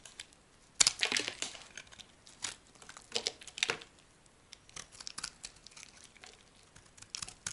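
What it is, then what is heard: Dry soap bar being carved. A dry, solid yellow soap bar, partly carved and held by grey long nails, is shaved and cut with a small metal knife blade, producing crumbly flakes. Crisp, bright scraping and crackling bursts come in uneven clusters, the loudest near the start and again around the middle, with faint, dry, quiet gaps between.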